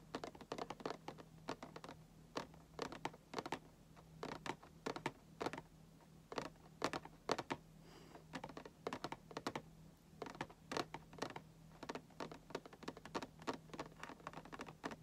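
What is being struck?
Printed cardboard toy box.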